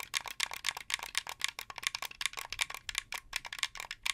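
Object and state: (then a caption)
Plastic game controller tapped with fingernails. Fingernails tap and click the white buttons and plastic face of a hollow, translucent blue plastic Xbox 360 game controller held up close. About 27 quick, dry, bright clicks come in an uneven stream, each dying away almost at once with almost no low end.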